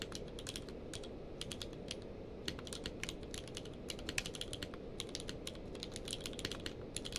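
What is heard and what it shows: Both hands type rapidly with their fingertips on a full-size mechanical keyboard with a blue-grey case and white and grey plastic keycaps, lying on a blanket. A quick, steady stream of short, bright clicks sits over a constant low background hiss.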